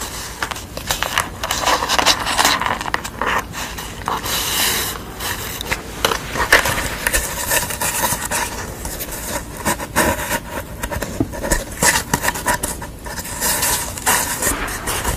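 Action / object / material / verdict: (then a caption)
scrape / painted corrugated cardboard / cardboard / none. Long nails scratch the painted face and the exposed corrugated edge of a thin, hollow-fluted piece of painted corrugated cardboard. The result is a steady run of crisp, dry scraping and rasping with bright crackly texture, swelling into louder bursts throughout.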